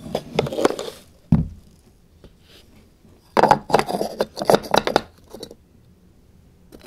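Fingertips scratch the small sliding wooden lid panels of a light, hollow wooden puzzle box, sliding, lifting and scraping them. Bursts of dry scratching and short clicky scrapes come with quiet gaps between them. There is a duller knock early on and brief taps at the end.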